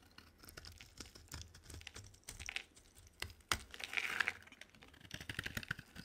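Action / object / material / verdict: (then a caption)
scrape / bar of soap cut with a knife blade / soap / none. A solid rectangular green bar of dry soap with white stripes is held in the hand and carved with a utility knife blade. Quick, crisp scraping and crackling cuts come one after another, with a louder, brighter shaving sound near the middle.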